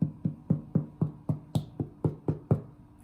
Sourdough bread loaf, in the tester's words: you know that it's done if you can hear hollow sound